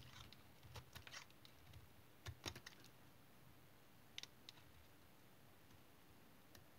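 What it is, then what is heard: Tar soap bar being cut. A small knife cuts and shaves pieces off the end of an oval, solid dark brown tar soap bar held in the hand. Quiet, crisp scraping cuts and brief bright clicks come at irregular intervals over a low, steady background murmur.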